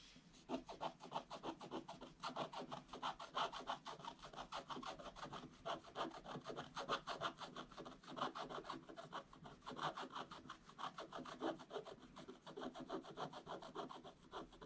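A wooden stylus scratches a black coated scratch-art paper page with fast back-and-forth strokes. The result is a continuous run of dry, raspy scratches, about three strokes per second, bright and slightly uneven in rhythm, with no low-end weight.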